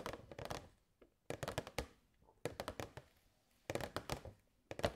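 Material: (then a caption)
Plastic. Long nails tap the side and front of a hollow clear plastic box with purple fairy lights inside. Quick bursts of short, dry taps with a hollow, plastic thunk come in several clusters separated by brief pauses, each tap dying away almost instantly.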